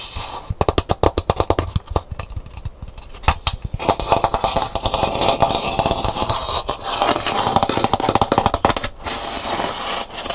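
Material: Gourd.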